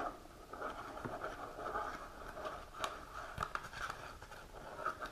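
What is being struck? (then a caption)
Small printed cardboard box. Long natural nails scratch and tap across the front and sides of a small, hollow printed cardboard supplement box held upright. A steady, papery scratching rasp with a hollow midrange ring runs throughout, broken by a few sharp, bright taps. The clip is quiet and soft overall.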